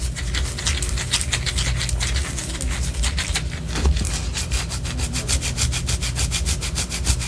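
Long orange acrylic nails scratch the side of a large white solid wax pillar candle held close up. Quick, steady raspy strokes make bright scratching bursts over a constant low rumble, and the strokes grow faster and more even toward the end.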